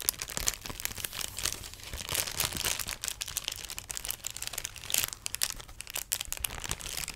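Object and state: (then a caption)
Plastic air cushion packaging. A large sheet of clear inflatable plastic air-pillow packaging is crinkled and scratched with long nails and fingertips. Dense, bright crackling and sharp crinkles run throughout, with quick overlapping scratches and brief louder bursts, and almost no low end.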